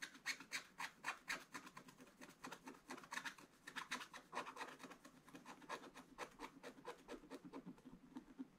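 A wooden stylus scratches the black coating of a scratch-art paper page in a book. It makes quiet, dry, rapid scraping strokes with a bright, papery rasp, each stroke short with no ring.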